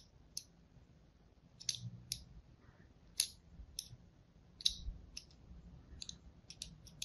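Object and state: Soap bar scored with a blade.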